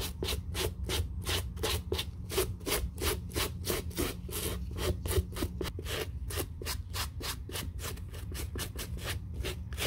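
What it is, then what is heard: Suede leather sneaker being brushed. A white-bristle suede brush in a gloved hand is brushed briskly over a grey-brown suede leather sneaker, working the side panel near the zipper and the heel area. Quick back-and-forth strokes, about three per second, each make a dry, bright bristly scrub over a steady low hum.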